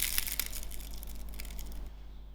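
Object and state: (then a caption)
Crispy fried murukku. A freshly fried murukku made with cream of maize is broken by hand, giving a burst of crisp, high-pitched crunching and crackling over a low steady hum. The snapping fades to quiet after about two seconds. It sounds crunchy but not too hard.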